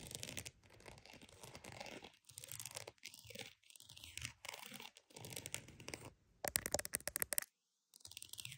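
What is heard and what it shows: A croc-embossed purse is tapped and scratched, giving dry, bright scratching and crinkly textures in short bursts separated by brief pauses. Near the end comes a run of quick, sharp taps, then a short silence before the scratching resumes.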